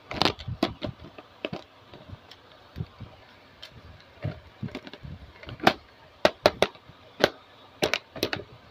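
A translucent pink plastic carry case with a handle and clasp, hollow and full of small plastic toy accessories, is handled, tapped and knocked with long blue-painted nails and fingertips. Sharp, bright plastic clicks and hollow knocks come in an irregular series, with quieter handling rustles between them. Each tap dies away almost instantly.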